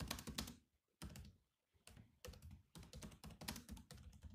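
Fingertips type on the black plastic keys of a grey laptop, producing quick, clicky taps with a low thump and bright clatter. The taps come in rapid bursts separated by brief pauses, and each one dies away almost instantly.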